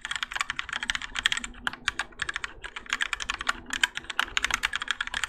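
Fingertips of both hands type continuously on a Keychron K4 compact mechanical keyboard with Gateron Yellow switches and grey and orange ABS plastic keycaps, its plastic and metal case resting on a desk mat. The result is a rapid, steady stream of short, bright plastic clacks that stop dead with no ring and carry little low end.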